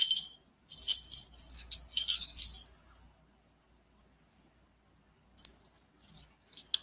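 A dense run of light clinks, then a pause and a few sparser ones. The sound sits very high, thin and glassy-metallic, with almost no low body and only the briefest ring. The small, hard stones chime more like metal than ordinary pebbles.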